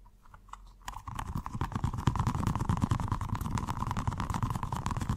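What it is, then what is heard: Rubber stress ball filled with water beads. A small, colorful, squishy stress ball with a rubber skin filled with gel water beads, solid and soft, is held in one hand and tapped and scratched by fingertips and short nails. After a quiet second of faint taps, a rapid, uneven stream of soft, dull thuds and scratches begins, mostly low in pitch with a steady mid-range hum. The sound ends up as dense, fast, muffled tapping.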